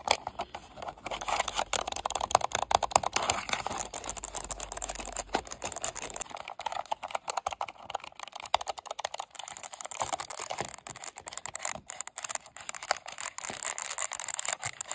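Fingertips and long nails rapidly tap, scratch and click over the top and side buttons of a hollow black hard-plastic gaming mouse lying on a wooden desk. The result is a dense, fast stream of dry, bright plastic clicks and scrapes with no ring, over a faint low hum in the first six seconds.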